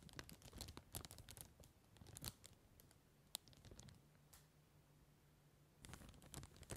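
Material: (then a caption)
Cellophane. Fingertips and short nails tap and scratch across a large, empty, clear plastic cellophane bag lying flat on a table, making it crinkle. Sharp, bright crackles and scratchy taps come in clusters, ease into a quieter stretch with a faint low hum, then return in a final flurry of crinkling.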